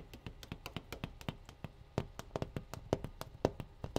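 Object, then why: Metal tea kettle. A metal tea kettle is tapped about two dozen times in a quick, uneven rhythm, giving short, clinking metallic taps. Each tap dies away almost at once, and a few louder strikes bring out a brighter ring with a mid-pitched tone.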